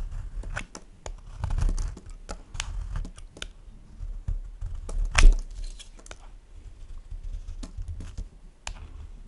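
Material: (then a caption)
Soap. A solid white bar of soap, held in one hand, is scraped with a plastic peeler, its shavings falling onto a wooden board. Dry, crinkly tearing strokes come in quick, uneven succession, with short bright clicks over a soft low rumble. One stroke near the middle stands out louder than the rest.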